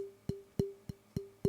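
A wooden drumstick pulled from a stick bag is tapped five times close to a microphone to check its pitch for matching a pair. Each tap gives a short, dry knock with a clear, medium-pitched tone around 395 Hz that rings only briefly. The stick has a very clear, medium pitch.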